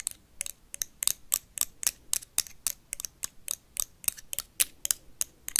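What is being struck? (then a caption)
Plastic toy lightsaber blade. A blue plastic toy lightsaber is tapped and scratched with paperclips. Quick, dry, bright clicks and scrapes come in a fast, uneven rhythm, with almost no low end and no ringing after each contact.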